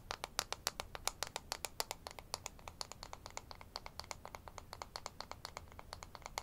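A thin, solid light-wood toy ruler with a printed scale is held in both hands and rapidly tapped and scratched with fingernails. It makes a fast, uneven run of dozens of short, dry, bright clicks and ticks that die away instantly. A faint low hum sits underneath.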